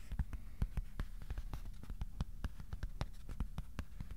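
Fingertips tap the underside of a thin white cardboard sheet held in both hands, producing a quick, uneven series of soft, dull thumps. The taps are quiet and low, with only a faint bright click at each onset. Each one dies away almost at once, leaving no ring.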